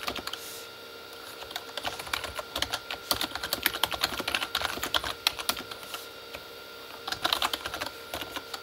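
Both hands type with fingertips on a full-size Corsair K35 backlit mechanical keyboard with plastic keycaps on a hollow plastic body. Bright, dry, clicky taps come in quick bursts, with short pauses at the start, near the middle, and toward the end. The keystrokes sound hollow and plasticky, with almost no low end and no ring.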